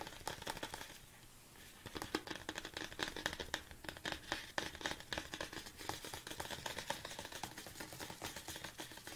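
Fingertips and nails tap rapidly on the sides of a large, hollow, red plastic BCAA supplement tub held upright. The result is a dense run of short, bright, hollow plastic clicks with a brief quieter pause near the start. Each tap dies away almost instantly, with a ringing tone around 1.8 kHz.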